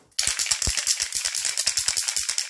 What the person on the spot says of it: Tu entends la petite bille?